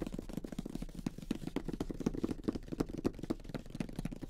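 Fingertips with short nails tap and scratch the lid of a closed, flat grey cardboard Monopoly game box holding the game pieces, near the printed logo. Quick, dry, muffled taps mixed with soft scratching fill the clip at an uneven, rapid pace, with mostly low body and almost no brightness.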